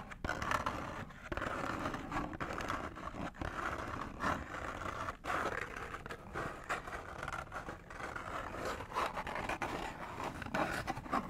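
Fingernails scratch and scrape a small, hollow orange-and-green McDonald's cardboard box. The result is a steady, dry, rasping texture centered in the mid-range around 1.3 kHz, with short, quick strokes and brief pauses throughout.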